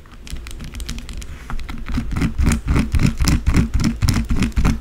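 Long blue acrylic nail tips quickly tap and scratch the top of a white solid bar of soap, first held in the hand and then lying flat on a dark surface. Soft patters grow into a fast, fairly steady run of dry, crisp scratches and taps, each with a dull low thump and a bright scraping edge. The strokes get louder after the first second and a half and end abruptly with no ring.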